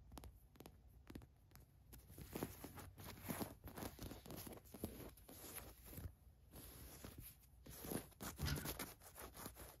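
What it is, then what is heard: Cotton fleece sweatshirt scratched with nails. Long nails scratch across the white printed letters on a green cotton fleece sweatshirt, giving quiet, dry scraping strokes in irregular bursts. Brief bright scratches rise and fade over a soft low rumble, with a few louder strokes near the end.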